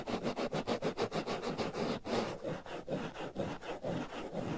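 Fingernails scratch the black foam windscreen covering the right ear of a binaural microphone in about fourteen quick strokes. Each stroke is a rough, breathy rasp centered near 500 Hz with a fizzy high edge. The strokes come in a rapid, even run for the first two seconds, then slow into longer, softer rubs.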